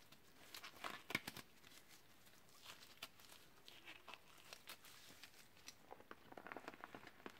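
Gloved fingertips crumple and crinkle a small, deflated, hollow and empty teal clear vinyl beach ball with black lines. Quiet, bright plastic crinkles and crackles come in quick, short bursts, with a few sharper snaps standing out over a soft continuous rustle.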